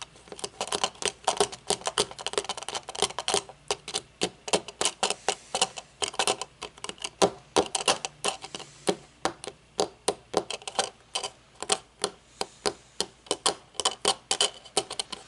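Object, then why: Metal-frame sunglasses with dark lenses. Long painted nails tap and click on the metal frame, bridge and dark lenses of a pair of metal-frame sunglasses lying on a wooden table. About seventy quick, dry, bright clicks come in a fast, uneven stream, each dying away almost at once with little low end.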